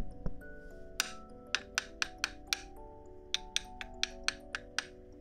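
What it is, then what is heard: Metal fake fingernails tapping. Heavy metal fake Halloween fingernails tap out 13 sharp, bright clinks at an uneven pace. Each click dies away almost at once, over steady sustained tones in the background.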